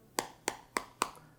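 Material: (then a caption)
Plastic. Four taps on the plastic back panel of a Samsung Galaxy A52 5G smartphone give short, bright clicks with little low end and almost no ring. The hollow, light tap sound marks the back as plastic rather than a premium material.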